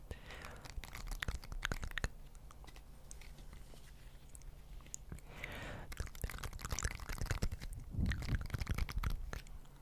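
Two small round green plastic or silicone scrubber pads covered in soft spikes, held one in each hand in front of a microphone, are squeezed and rubbed by the fingertips. This makes dense, irregular crunchy scratching sounds, with a steady low hum beneath.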